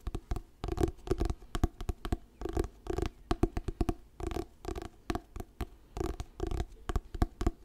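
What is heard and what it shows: Fingertips tap and scratch the glossy paper cover of a solid orange "Diary of a Wimpy Kid" paperback book held in both hands. The result is a steady stream of soft, dry taps with quick, low-heavy thuds, short scratchy bursts and almost no ring.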